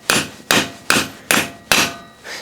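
A hammer drives the last steel wheel stud into the rear hub, over a socket, during a Dana 44 rear disc brake conversion on a CJ2A, until the stud is fully seated. Five sharp, bright metallic strikes land at a steady pace, each ringing briefly and fading before the next, followed by a softer sound at the end. The stud is driven home and seats properly, the hollow sound giving way to a solid thump once it is seated.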